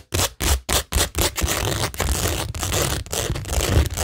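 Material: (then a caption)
Rhinestone, cork. Long nails scratch across a flat, solid framed cork tingle board covered in pink rhinestone mesh and pearl stickers. A few short, separate scraping strokes open into a steady, continuous scratching, with a dense, bright, gritty texture over a low rumble.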